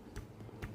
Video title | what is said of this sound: Paano Malalaman Kung May Palitin Na Sa Ating Sigunyal #shortvideo #viralvideo | kung meron kayong maririnig na tunog is palitin na yan. At sa atin is wala pa naman na yung makikirinig